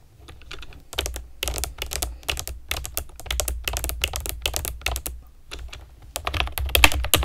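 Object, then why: Plastic keyboard with round keycaps. Long nails and fingertips type on a pastel plastic keyboard with round keycaps. The result is a fast, uneven run of bright, clacky key clicks over a soft low thump, with a brief pause in the middle before the typing picks up again.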